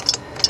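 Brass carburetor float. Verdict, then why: Dry. A soldered metal float from a water-corroded Tecumseh lawnmower carburetor is shaken to check for gas or water sloshing inside. Two light, bright metallic clicks are heard, with no sloshing, so the float is dry.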